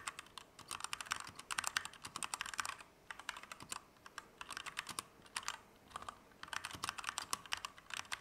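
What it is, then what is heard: Mechanical keyboard typing. A compact Keychron K2 V2 mechanical keyboard with Gateron Red switches, plastic keycaps and an aluminum frame is typed at medium speed with the fingertips of both hands. Bursts of quick, bright, clacky key presses run in clusters with short pauses between them. The clicks are crisp and dry with almost no low end.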